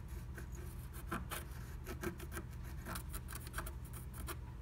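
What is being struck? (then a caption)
Wax-coated scratch art paper scraped with a wooden stylus. A wooden stylus scratches the coating of a flat, black-coated scratch art sheet through a blue plastic stencil, tracing a heart shape. Short, bright scratchy strokes come in quick succession over a steady low rumble.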